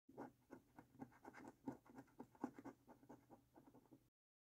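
A coin scratches the latex coating off a thin, flat paper lottery scratch card in repeated short strokes. About fifteen quiet, dry scraping rasps follow one another over four seconds, each with a soft midrange grit and almost no low end or ring.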